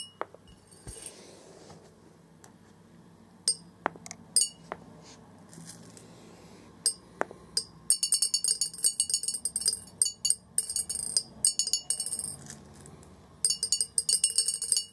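Orange plastic BB balls fall into a large, hollow, clear glass jar resting on carpet and bounce on its glass bottom. Scattered sharp, bright clinks in the first half give way to dense, rapid bursts of clattering ticks with short pauses. Each tick is high-pitched and dies away almost instantly.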